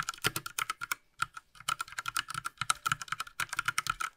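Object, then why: Plastic mechanical keyboard. A Ducky Mecha Mini Frozen Llama Edition, a small 60% mechanical keyboard with a light blue plastic case and plastic keycaps, lies flat while its keys are pressed with one hand and then typed on with both gloved hands. Quick, sharp, bright plastic clacks centered around 1.3 kHz come in rapid bursts, with a short pause near the one-second mark before the faster two-handed typing. Each click dies almost instantly, with very little low end.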